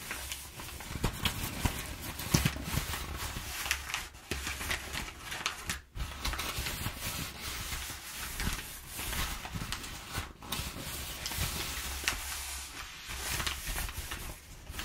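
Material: Paper.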